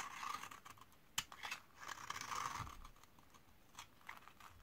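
A metal utility-knife blade scrapes and shaves the edge of a solid rectangular bar of old white laundry soap (72%, made in 2012 and dried for 8 years) held in one hand. Crisp, crunchy scraping strokes and sharp dry clicks are heard, bright and quick with almost no ring, as curls and flakes come off the bar.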